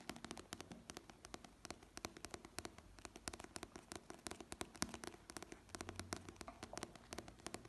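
A small paperback novel with a glossy printed paper cover, solid in the hand, is tapped and scratched with dark-painted fingernails on the cover and along the page edges, and its pages are riffled. Dozens of rapid, crisp, dry clicks with almost no ring sound over a soft papery rustle and scratching. The result is a quiet, bright, close-up stream of taps.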